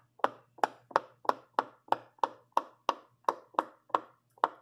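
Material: Silicone.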